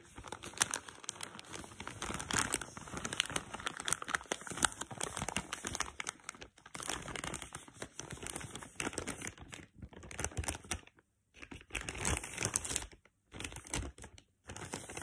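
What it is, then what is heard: Plastic tealight bag, crinkled. Long pink-painted nails and fingertips scratch and crinkle the surface of a soft, flexible black printed plastic bag holding 30 tealights. Dense, bright crackling and rustling fill the clip, broken by a few short silent pauses near the end.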